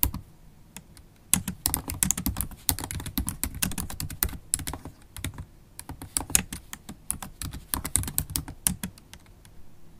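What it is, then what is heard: Laptop keyboard being typed on. Typing on a MacBook Pro laptop keyboard with low-profile black plastic keys in a silver aluminum body, using long stiletto acrylic nails and fingertips. Dense, irregular bursts of short, sharp clicks and tapping sounds with bright, high nail ticks over soft low thuds. Each stroke dies away almost instantly.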